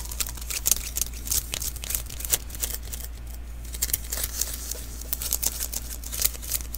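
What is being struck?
Adhesive paper lint roller refill.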